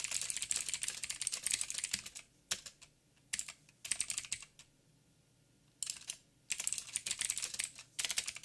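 Fingertips of both hands, one wearing a ring, type rapidly on a backlit full-size mechanical keyboard with plastic keycaps and blue clicky switches. Dense bursts of sharp, bright clicks come in quick runs, broken by short quiet pauses near the middle. Each click is crisp and dry with almost no low end and no lingering ring.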